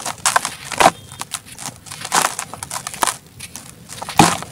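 A dry sand cement chunk, solid and gritty, is held in both bare hands over a plastic tub while fingertips press and crumble it. Brittle crunching and crackling snaps mix with gritty, hissing crumbles as the pieces break off and fall as powder, with a few louder cracks standing out.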